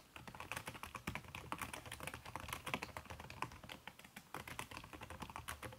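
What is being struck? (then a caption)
Laptop keyboard with silicone key cover. Fast typing with fingertips and long red-painted nails on a backlit aluminium laptop keyboard covered by a red silicone skin over plastic keys. A rapid, steady stream of soft, muffled clicks and taps with bright edges and almost no ring carries on throughout.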